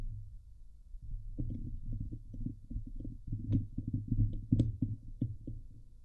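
Fingertips and long nails scratch the hollow steel mesh grille of a Blue Yeti microphone with both hands. The sound is a dense, boomy, low rumbling scrape in rapid, irregular strokes, with occasional sharper, brighter nail clicks rising above it.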